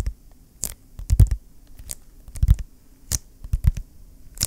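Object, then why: Vinyl-covered ring binder. A large, flat, closed blue vinyl ring binder is held in both hands while fingertips tap and rub its cover. About ten soft, dull thumps come at an irregular pace, some paired with brief, crisp scratchy rubs, and quiet gaps fall between them.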